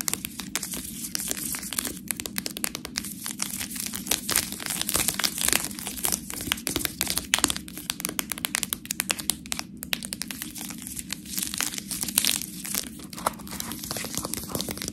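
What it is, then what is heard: Plastic food package scratched with nails. Long nails scratch a full plastic bag of fresh tortellini, first along the side and then across the front. The result is a steady, dense crinkling and scratching that is mostly bright and high, with rapid small clicks and a faint low hum underneath throughout.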